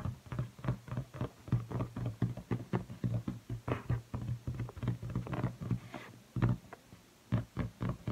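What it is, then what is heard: Inflated latex balloon. A large blue inflated latex balloon, hollow and air-filled and held by the neck, is tapped, rubbed and squeaked on its stretched surface by fingertips with red-painted nails. A rapid string of soft, dull, low thumps resonates around a steady low hum, broken by a few brighter squeaky rubs and a brief quiet pause near the end.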